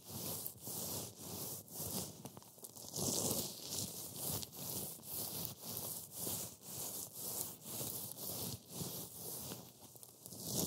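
Black-gloved fingers rub and push a heap of dry, flaky green matcha wafer crumbs across a white board. Eleven rhythmic strokes each make a bright, dry crunching rustle that swells and fades.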